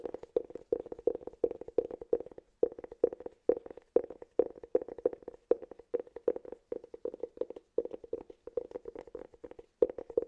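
Fingertips tap and scratch the surface of a round, hollow cork cylinder held in both hands. Quick, dry, hollow taps with a mid-pitched resonance near 470 Hz come in rapid clusters, each tap dying away almost instantly, separated by brief pauses.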